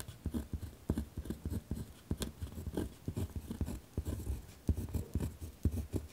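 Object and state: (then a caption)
Pen writing on lined notebook paper. A ballpoint pen is dragged across a single torn-out sheet of lined notebook paper lying on a wooden desk while writing, with the other hand resting flat on the desk. The result is a rough, continuous scratching made up of a quick series of short, dull strokes, heavy in low tones with very little high-end brightness.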